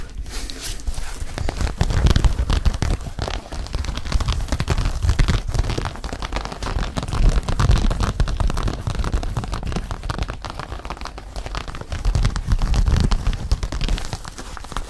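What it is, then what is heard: Mesh sneaker with rubber sole. A single hollow, empty red mesh Nike sneaker with a white foam/rubber sole is held in both hands while fingertips tap and scratch across the mesh upper and the sole. The result is a steady stream of soft, dull low thumps mixed with fine scratchy, crinkling rustles. The taps come quickly and continuously, with a few louder swells throughout.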